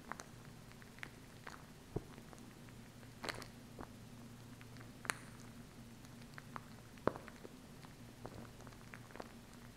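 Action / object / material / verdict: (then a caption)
tap / plastic glue stick tube / plastic / none. Long acrylic nails tap and scratch the hollow body of a small plastic glue stick tube near its cap. The result is a quiet, irregular series of sharp, dry clicks with some bright scratchy edges over a low steady hum.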